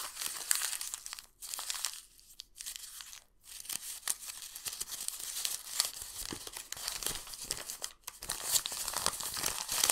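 A torn piece of a yellowed, printed old paper book page is crumpled and squeezed between the fingers of both hands over a sketchbook. It makes dense, bright crinkling and crackling with almost no low end, in bursts broken by brief quiet pauses.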